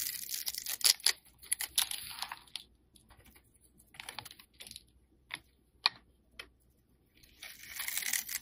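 A metal utility blade crosshatch-scores and scrapes a solid, rectangular black soap bar held in the hand. Bright, dry scratching strokes come in uneven bursts with a few crisp ticks and short quiet gaps between them. The clip ends on a longer rasping scrape.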